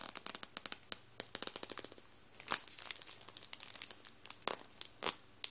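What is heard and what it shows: Fingertips rub and squeeze a full Warburtons plastic bread roll bag over the rolls inside, crinkling the plastic. A rapid run of sharp, bright crackles is heard, each dying away almost at once, with a few louder crunchy bursts mixed in.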